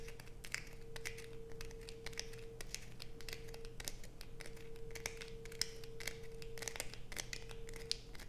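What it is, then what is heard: Bar of soap scratched with fingernails. Long pointed acrylic nails scrape across a solid blue soap bar with deep grooves, held in the hands. Quick, dry, bright scratches and clicks sound throughout over a quiet, steady low hum and a faint constant tone.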